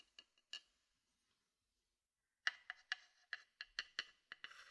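A thin wooden stick taps and scrapes the rim and inside of a medium, open, empty and hollow wooden bowl held in one hand. Eleven short, dry, knocking taps with a woody, bright tone and almost no ring come in two groups: three sparse taps, a pause, then a quicker run. The clip ends with a soft scraping.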